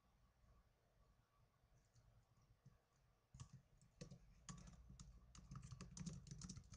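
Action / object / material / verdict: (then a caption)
tap / plastic laptop keyboard keys / plastic / none. Fingertips with blue nails type on the plastic keys of a small black plastic netbook. After a quiet, soft start, a run of crisp, bright clicks and low taps begins a little past the three-second mark and grows busier and louder toward the end.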